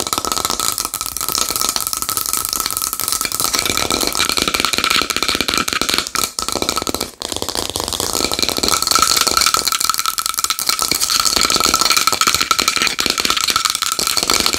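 Long nails tap fast and aggressively on a small wooden bowl, making a dense, rattling clatter of short, dry clicks. The sound is mostly bright, with a steady tone near 1.3 kHz running under the taps. The tapping pauses briefly around the 6 to 7 second mark before continuing.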